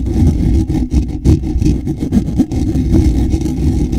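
Fingers with short nails scratch the lower edge of a hollow, black woven wire-mesh microphone grille. The result is a dense, continuous low rumbling scrape, heavy in the bass around 78 Hz with almost nothing bright. It pulses with brief dips between strokes.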